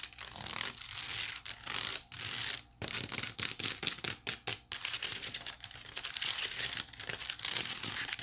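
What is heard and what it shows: Long acrylic nails scratch along the woven strands of a small, hollow white wicker basket held up near the camera. The result is a dense run of bright, crinkly scratching with quick bursts and brief pauses. It has almost no low end.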